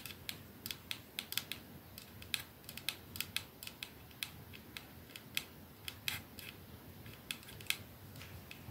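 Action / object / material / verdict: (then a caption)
tap / glass perfume bottle / glass / none. A glass 212 capsule perfume bottle with a silver band is held in one palm while the nails of the same hand tap rapidly on it. The taps are an irregular run of light, bright clicks that die away almost instantly, over a soft steady hiss.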